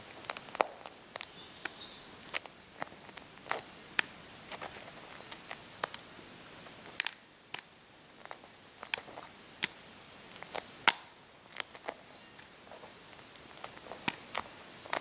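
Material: Eggshell.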